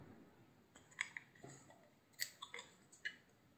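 A hand-sized, solid cream-white soap bar with a blue rim is shaved with a utility knife blade. About eight quiet, irregularly spaced crisp clicks and scrapes ring bright around 2 kHz and die away almost instantly against a faint background hiss.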